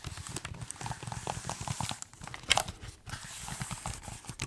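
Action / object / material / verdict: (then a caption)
tap / laptop keyboard with plastic keys / plastic / none. Fingertips type on the plastic keys of a silver laptop keyboard while the laptop is held at various angles. Quick, dry clicks and soft tapping run throughout, mixing low thumps with bright key clatter, with one sharper, louder tap about halfway through.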